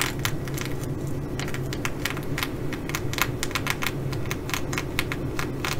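Long nails of one hand tap and scratch the sequins on a blue, reversible flip-sequin fabric bag. Quick, bright, crisp clicks come in an irregular, steady stream over a constant low hum.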